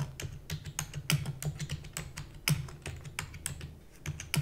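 Fast fingertip and nail typing on the plastic keys of a black plastic computer keyboard. Rapid, sharp clicky taps with bright upper clicks and a steady low thump underneath, each keystroke dying away almost instantly.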